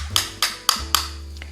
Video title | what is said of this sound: 5 cara membedakan charger iphone ori dan kw, Oem - cas Ibox | charger yang oem atau KW ketika kita ketuk itu terasa kopong